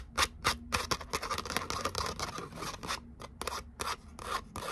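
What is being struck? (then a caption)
Glitter cardstock. Long nails scratch and rub the glittery surface of a thin gold glitter cardstock letter "O" held in both hands. Quick, uneven strokes come one after another, each a short, dry, bright rasp with a crackly, papery texture. The strokes die away almost at once, leaving a faint low hum underneath.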